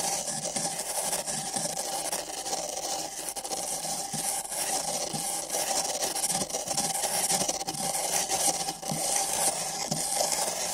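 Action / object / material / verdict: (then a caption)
scrape / paper cup scrubbed with nylon brushes / paper / none. Thin nylon bristle brushes on long sticks scratch and scrub the outside of two identical empty printed paper (cardboard) cups fitted over binaural microphone ears. The result is a steady, bright, rasping scratch with a faint hollow tone near 800 Hz and soft, irregular strokes throughout.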